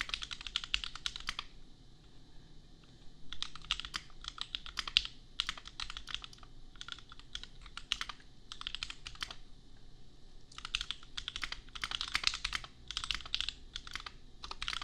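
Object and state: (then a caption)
Plastic mechanical keyboard. A custom compact mechanical keyboard with Gateron Milky Yellow switches and red and pink plastic keycaps is typed on with the fingertips of both hands. Rapid bursts of bright, clacky keystrokes are separated by short pauses, with a low background hum underneath.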